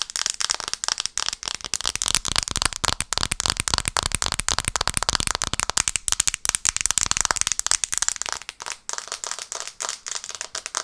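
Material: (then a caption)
Glass. Long nails tap fast on the glass screen of a black smartphone held in both hands, first sideways and then upright. The result is a dense, rapid stream of sharp, bright clicks with almost no ring and very little low end.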